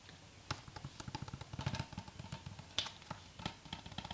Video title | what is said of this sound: ASMR Video Game Pickups Soft Spoken Tapping | Shakes a little bit and rattles with the game in there.